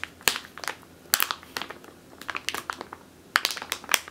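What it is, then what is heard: Plastic bag full of flour. Long teal nails scratch and squeeze a medium clear plastic bag with a purple label, full of flour or grain. Quiet, bright crinkles and sharp crackling snaps come in irregular bursts, with no low-end weight and almost no ring after each one.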